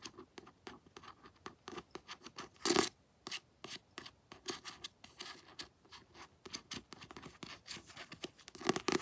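Long nails scratch the glossy cover of a paperback book and then handle the edges of its paper pages, making a quick run of short, dry, bright scratches and rustles. One louder, fuller scrape stands out near the middle, and the sounds stay soft and close with almost no low end.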